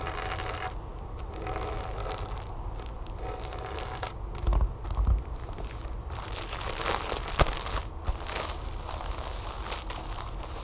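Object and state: Plastic tablecover in plastic packaging.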